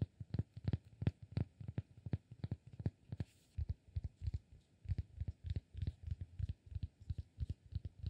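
Fingertips and short nails tap and scratch the surface of a palm-sized, solid, rectangular cork block held in one hand. About forty quick, irregular taps land as dull, muted, low thumps, each dying away almost instantly. Faint, light scratchy texture sits between them.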